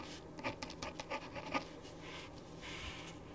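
A ballpoint pen writes on a thin printed paper sheet lying flat on a wooden desk, making quick scratching strokes. Short, dry bursts of bright, hissy scratching come in the first half, then settle into a softer, steady scraping that fades out with little ring.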